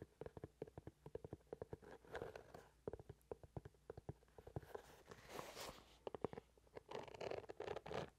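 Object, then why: Leather shoe. A brown leather shoe held upright close to the mic has long nails tapping and scratching along its leather side and sole. Many quick, crisp taps come in irregular bursts, mixed with longer scratchy rubbing passages that carry a brighter hiss.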